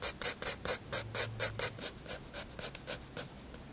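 A graphite pencil shades and draws on a white paper sketchbook page, rubbing the surface. There are 14 quick, bright, scratchy strokes in a steady back-and-forth rhythm that fade slightly toward the end, over a faint low hum.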